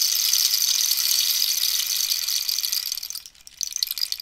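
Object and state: Cactus rainstick.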